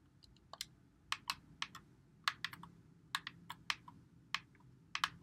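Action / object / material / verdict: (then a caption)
tap / plastic game controller / plastic / none. Fingertips press and click the buttons and thumbsticks of a white Xbox One controller with a hollow plastic body, held in both hands. About 18 short, dry, bright clicks come in irregular bursts over a faint low hum, each dying away almost at once.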